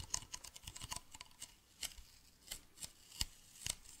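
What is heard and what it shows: A hollow, medium white plastic bottle with a blue cap is held near the face and tapped with fingernails. The result is a quiet, irregular run of short, bright clicks that stop almost instantly, with a faint low thump under some taps.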